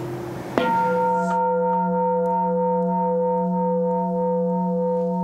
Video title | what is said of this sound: DENSAN #1 「Orin／おりん」 The traditional Japanese craftsmanship that you want to preserve | モンもんもんっていう低い音がずっと続く